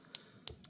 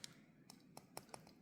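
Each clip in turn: First: Three light, high clicks with no ring, the dry tick of thin plastic rather than metal. Second: About six quick, bright ticks with almost no ring, light taps on the small die-cast metal seats of a toy kart.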